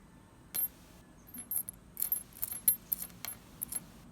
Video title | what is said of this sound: My Crystal Collection! (Part 1) - Quartz, Amethyst, Citrine, and more! | I love that glassy sound of these like uncoated but polished thin points.